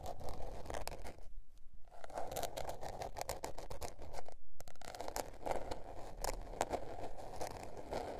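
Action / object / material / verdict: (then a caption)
scrape / paper-covered spiral notebook / paper / none. Long nails scratch the blue patterned paper cover of a small spiral-bound notebook. Quick, dry scratching and scraping strokes run steadily with a rough mid-range rasp, pausing briefly twice before picking back up.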